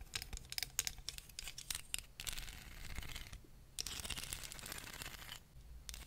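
Long fingernails tap and scratch along the spine and teeth of a small, solid wooden hair comb held close to the mic. The first two seconds are a quick run of sharp, dry, bright clicks. These give way to longer rasping scratches with a short pause between strokes, then fade to a softer scrape at the end.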